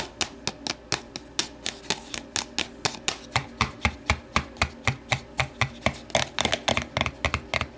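Long nails tap the sides of an empty, hollow, translucent plastic deli container standing upright on a wooden table, then reach inside to tap its interior. The result is a steady run of over thirty sharp, bright, hollow plastic clicks with a resonant tone around 660 Hz, each decaying almost instantly, quickening into closer clusters near the end.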